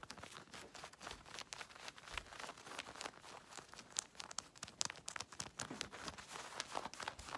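Long red nails scratch quickly and hard over the pocket and fly area of worn blue denim jeans, then rub the denim on the leg. The result is a dense run of bright, dry scratching and crinkly rasps with sharp little peaks. There is almost no low end and no ring after each stroke.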